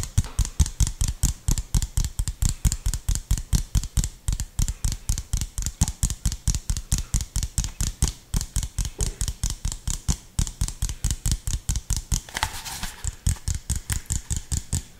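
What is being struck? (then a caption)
Plastic drink bottle. Fingertips and nails tap and scratch an empty, hollow clear PET drink bottle with an orange label and orange cap. The result is a quick, fairly steady stream of short, dry taps, each a deep hollow thump with a bright clicky edge. Near the end, a brief scratchy rasp breaks in before the tapping resumes.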